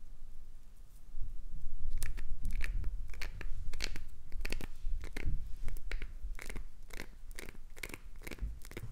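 A chunk of solid translucent green glycerin soap, held in the palm, has its ridged surface scraped and gouged by long nails. The result is a quick, irregular run of crunchy, tearing scrapes with bright crackling edges over a low rumble.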